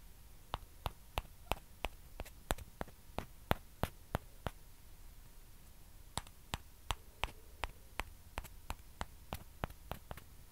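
Small hollow white plastic ping pong balls, one held in each hand, are tapped and scratched with long dark-painted nails. About 30 short, sharp clicks sound in loose bursts over a low steady hum, with a quiet pause near the middle before the tapping resumes.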